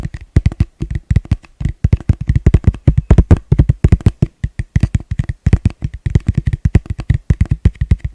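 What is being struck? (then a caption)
Plastic bowl. A plastic bowl is tapped quickly and gently with the fingertips, producing a steady stream of dozens of soft, dull, hollow taps in uneven bursts. Each tap is a short, low thud that dies away almost at once, with a faint higher click on top.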